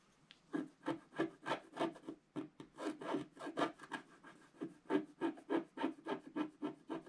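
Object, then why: Wax-coated scratch art card scraped with a wooden stylus. A wooden stylus scratches and rubs away the black coating of a flat scratch art card lying on a table. About 25 quick rasping strokes follow one another at roughly three per second, each a dry midrange scrape with a bright edge that stops short with no ring.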